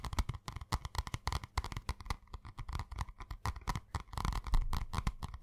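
A purple spiral notebook with a cardboard cover, held in the hands, is tapped quickly by fingertips and nails on its cover. A dense run of soft, dull taps with a heavy low thump and brief bright clicks, each dying away almost at once.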